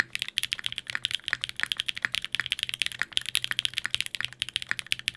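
Fingertips type rapidly on a Sangeo 60, a 60% mechanical keyboard in a white case with blue and grey GMK ABS plastic keycaps, an aluminium plate and Durock POM switches. A fast, steady run of about thirty sharp, bright clacks is heard, each peaking near 1.8 kHz with almost no low end and dying away instantly.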